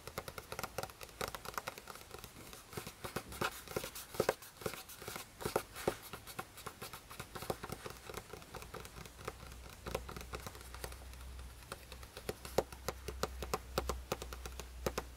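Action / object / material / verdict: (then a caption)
tap / paper notebook page / paper / none. Fingertips of one hand tap quickly across the written-on lined paper pages of an open spiral notebook. The result is a dense run of soft, dry, papery taps with faint crinkling and no ring, over a low steady hum that grows stronger toward the end.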